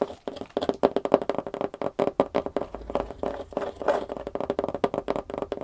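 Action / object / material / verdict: tap / corrugated cardboard box / cardboard / none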